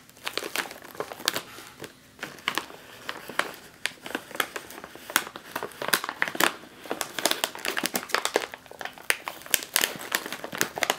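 A sealed, puffed metallized foil snack chip bag resting on a table is tapped and patted with fingertips and nails, and pressed. Dense runs of sharp, bright crinkles and crackles come in quick bursts, each dying away almost instantly with almost no low end.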